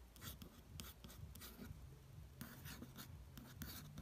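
Quiet papery swishes come in short strokes, bright and airy with no ring at all, like a fingertip tracing over a smooth coated page. It is a glossy magazine cover. A steady low hum sits in the background of a small room.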